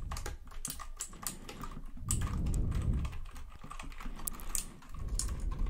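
Fingertips quickly tap and press the plastic keycaps of a white full-size plastic mechanical computer keyboard held close to the microphone. The result is a fast, uneven run of short, dry clicks with bright ticks over a heavy low thump, and it swells louder in the middle.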